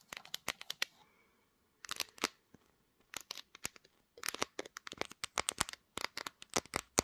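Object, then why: Smartphone with glass back. Long nails tap and scratch around the camera module and upper back panel of a pink glass-backed smartphone mounted on a tripod. The result is quick bursts of sharp, bright clicks and crisp scratching with almost no low end, separated by brief pauses.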